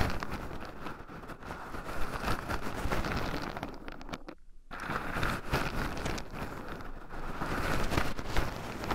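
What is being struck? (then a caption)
Shelled pine nuts in a wooden bowl. Two wooden chopsticks stir and poke through a small wooden bowl heaped full of raw shelled pine nuts, with two black microphones buried in the pile so the nuts also rub against them. The result is a dense, continuous rustling and scratching with a heavy low rumble, broken by a brief near-silent pause around the middle before the stirring resumes.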